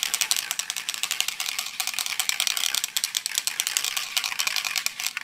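A medium metal aerosol spray paint can holding paint and a mixing ball is held in one hand and shaken vigorously near the microphone. The ball rattles inside in a fast, continuous stream of short, dry, bright clicks with almost no low end.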